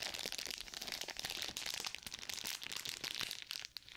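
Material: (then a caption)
Paper, plastic. A sealed plastic-and-paper surgical glove pouch has its paper back rubbed with a flat palm and fingertips and is crinkled with long nails close to the mic. The sound is a dense, bright crinkling and scratching with quick crisp crackles throughout and almost no low end. It dips briefly near the end.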